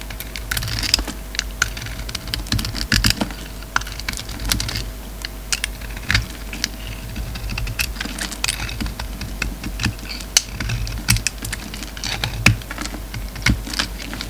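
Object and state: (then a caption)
Bar of soap being carved. A solid, red-coated black bar of soap is held in the hand while its black interior is shaved and carved with a utility knife blade. Rapid, crisp, bright scraping clicks and short cuts sound in quick, uneven succession, each dying away almost instantly over a faint steady low hum.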